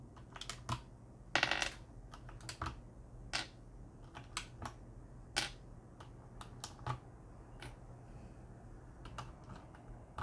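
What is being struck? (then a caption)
Mechanical keyboard with plastic keycaps. A hand grips black plastic keycaps on a Corsair K70 mechanical keyboard with a metal plate and presses them with its fingertips beside an exposed red switch. It produces a quick, irregular series of sharp, bright plastic clicks that stop almost instantly, with a faint steady low hum underneath.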